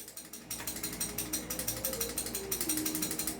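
The loose barrel of a non-upgraded Poseidon Medusa replica toy gun is shaken back and forth, giving a loud, fast, bright clattering rattle of about two dozen quick knocks. A softer stretch of rattling comes first, and the rattle grows louder after about half a second. The barrel rattles loosely, unlike the upgraded version.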